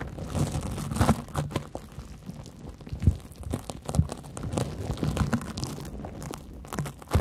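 A fingernail scratches across the porous surface of a large yellow cellulose sponge held over the microphones. The result is a dense run of close, dry crunching and crinkling scrapes, low and muffled, with occasional sharper bright clicks standing out.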